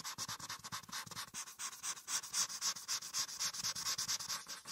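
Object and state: Marker coloring on paper over a clipboard.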